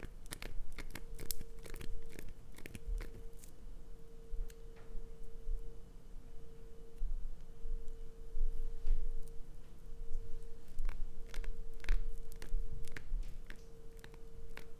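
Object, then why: Glycerin soap bar. Long acrylic nails scratch and scrape a solid green glycerin soap bar with red inclusions held in the hand, scraping off shavings. Dense crunchy scratching and sharp clicking scrapes are heard throughout, over a faint steady hum.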